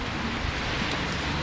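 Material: Nothing is struck.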